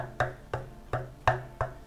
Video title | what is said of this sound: Claret Ash 3 Ways - Snack Bowls from One Tree - Canberra ACT Harvest | My ears can hear that as quite dense.